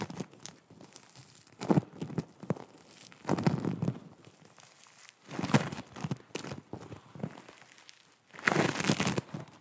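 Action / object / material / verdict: scrape / foam bead clay / foam beads / none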